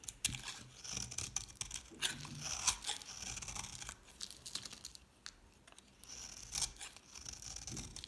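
A mostly carved-away, solid palm-sized green dry soap bar, held in the hand, is shaved repeatedly with a metal utility knife blade into thin flakes. Bright, dry scraping and crisp crackling come in quick, overlapping strokes with short pauses, and there is very little low end.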